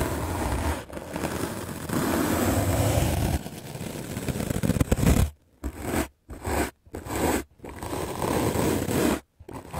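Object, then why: Melamine foam sponge scrubbed with a bristle brush. A white rectangular magic eraser block of solid melamine foam, held in the hand, is scrubbed aggressively with a medium black-bristle paint brush. The result is dense, rough scratchy brushing, steady at first and then broken into quick bursts separated by brief silences.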